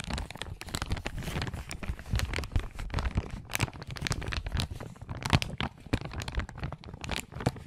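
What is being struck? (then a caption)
Thin plastic zip-lock bag. A small, thin, transparent plastic zip-lock bag, empty and hollow, is held up in front of the recorder and crinkled and squeezed between the fingertips of both hands. It makes a steady, dense run of crinkling with sharp crackles and brief tearing-like bursts. The crackles carry bright highs, while a soft, heavy low rumble sits underneath.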